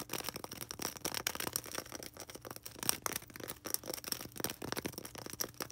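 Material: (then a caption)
Polystyrene foam. Long red nails rapidly scratch and tap a small, solid white polystyrene foam ball held in both hands. The result is a dense, fast stream of crisp, dry scratches and clicks with a bright, high hiss, each sound cutting off almost instantly with little low end.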